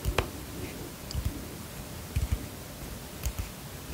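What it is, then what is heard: Plastic pump bottle tapped with fingernails. A white plastic pump bottle, held near the microphone, is tapped with long fingernails. Short, dull clicking taps come in small irregular clusters, mostly low and thuddy with a faint bright tick on some strikes. Each tap dies away almost instantly into a quiet, steady hiss.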